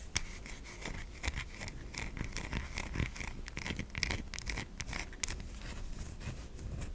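Long nails scratch grooves into a white solid bar of soap held in the palm, making flakes fall away. A steady run of dry, crisp scraping and scratching strokes carries a bright, hissy texture with occasional sharper clicks.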